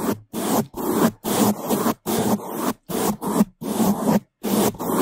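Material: Foam.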